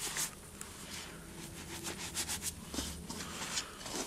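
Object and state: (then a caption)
Cornstarch and gym chalk powder. Hands squeeze, rub and sift handfuls of loose white cornstarch and gym chalk powder through the fingers over a bowl. The result is a soft, steady bright hiss of dry powder, with short crunchy squeaks and brighter bursts rising above it.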